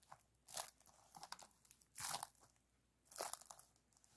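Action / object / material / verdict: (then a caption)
scrape / aluminum foil flexible duct hose / aluminum foil / none. A silver aluminum-foil ventilation duct over a spiral wire, compressed into a short, hollow, empty ring about a hand-width wide, rests on a blanket while both hands squeeze, press and rub its crinkly foil folds with the fingertips. Three loud, bright crunching bursts stand out, separated by quieter crackles and crinkles with almost no low end.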